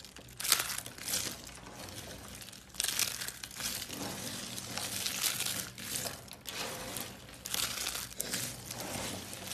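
Thin, dry and brittle green carved soap curls are crushed and broken between the fingers of hands with long blue painted nails. The result is a steady stream of crisp, bright crinkling and crunching, with louder crackling bursts rising and falling throughout.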